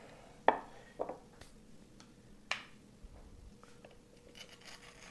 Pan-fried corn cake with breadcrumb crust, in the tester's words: do you hear how crispy that is